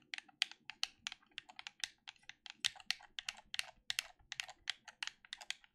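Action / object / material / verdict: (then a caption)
tap / plastic game controller / plastic / none. A black plastic gamepad held in both hands has its buttons clicked rapidly by thumbs and fingers, giving about 30 short, dry, bright clicks in quick, uneven succession. Each click is sharp with almost no ring, and there is no low-end weight beneath the quiet clatter.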